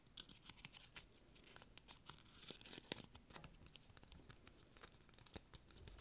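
Fingernails scratch and rub along the ridged edge of a small brown corrugated cardboard piece, giving a quiet run of dense, bright, crisp scratches and clicks. The short, dry rasps crowd closely together over the whole clip with little low end.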